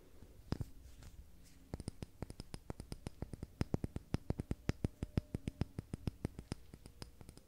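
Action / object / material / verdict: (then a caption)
tap / glass candle jar filled with wax / glass / none. A medium dark green glass candle jar filled with wax, with a paper "Stinging Nettle" label and a lid, is held in hand and tapped and clicked with long red-painted nails. A few scattered taps open the clip, then a steady run of short, sharp clicks follows, each with a dull low body and a faint bright tick that dies away almost instantly.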